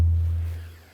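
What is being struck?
Nothing is struck.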